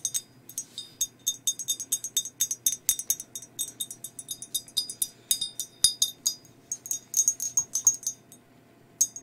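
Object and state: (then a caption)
Ceramic mug, empty. Long nails tap a hollow, empty glazed ceramic skeleton mug near the rim and body, producing dozens of quick, bright clicks in an irregular rhythm. Each tap is high and glassy with a very short ring, with a brief pause before a final tap.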